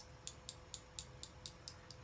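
A new liquid lipstick tube in a Marsala wine shade is shaken, giving eight short, bright rattling clicks at an even pace. The clicks are faint over a low background rumble and a steady mid-pitched hum.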